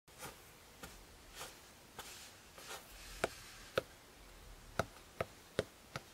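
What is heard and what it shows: Fingertips from both hands tap the maroon fabric-covered hard cover of a closed A5 spiral notebook lying flat on a quilt. Soft, muffled taps come first, then sharper, crisper clicks with a mid-range knock and very short decay.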